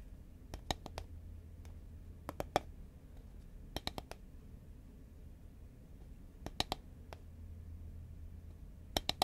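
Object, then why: Cardboard tube can. Long nails tap on a horizontal green Pringles can, a cardboard tube, in quick clusters of short, dry clicks with a bright edge and a hollow tone around 750 Hz. Each tap dies away almost instantly over a quiet, steady low hum.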